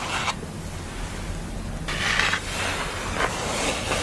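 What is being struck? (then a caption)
Thin painted board. A thin painted art board bearing a portrait of a woman in glasses lies flat while long nails rub across its painted face and scratch along its edge. The clip carries crisp, hissy scraping in bursts over a low rumble, with brief sharper scratches standing out.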